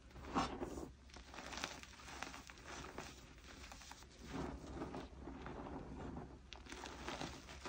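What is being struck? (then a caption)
Pile of crushed gym chalk. Two bare, chalk-covered hands press, rub and squeeze a large loose pile of crushed blue-dyed gym chalk, powder mixed with small crumbly chunks, on a tabletop, using fingertips and palms. The dry pile gives a steady run of soft crunching and gritty crinkling, with a few louder squeezes, over a faint low hum.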